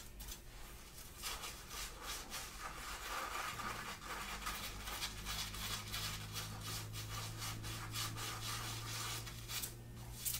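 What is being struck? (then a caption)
Cotton fabric shirt. Long, dark-painted nails on both hands scratch the chest fabric of a grey printed long-sleeve cotton shirt worn on the body. Quick, uneven rasping strokes follow one another with a bright, scratchy texture, over a steady low hum. The scratching keeps a fairly even, quiet level throughout.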